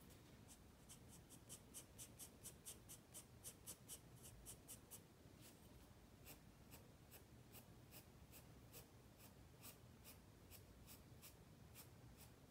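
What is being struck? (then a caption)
Graphite pencil on paper sketchbook page. A wooden graphite pencil sketches on a white spiral-bound paper sketchpad lying flat on a wooden table, its steady strokes rubbing and scratching the paper. Quick, evenly spaced bright scratches come in a fast rhythmic run for the first few seconds, then continue as slightly slower, crisp strokes over a quiet low background hum.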